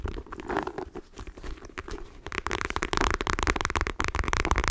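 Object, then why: Leather wallet. Long nails tap quickly on the face of a black printed leather wallet held in both hands. The result is a dense stream of short, dry clicks and taps, softer and more muffled at first, then louder and brighter from about halfway through.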